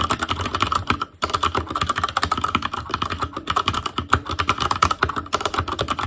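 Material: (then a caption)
Plastic. Fingertips of both hands type continuously on an ASUS ROG Claymore Core mechanical keyboard with Cherry MX Red switches, black plastic keycaps on a metal frame, and a hollow housing with RGB backlight. A rapid, dense run of short plastic clacks carries a hollow resonance around 1.3 kHz, with a brief pause just after one second.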